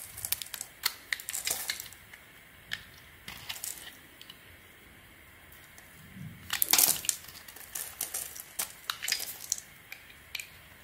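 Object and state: Soap bar shaved with a blade.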